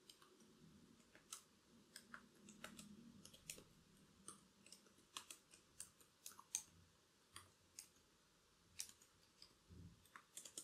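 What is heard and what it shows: Long curved black acrylic nails tap on the plastic keys of a laptop keyboard, making about 25 sharp, bright clicks in an irregular rhythm. Each click dies away almost instantly over a faint low background hum.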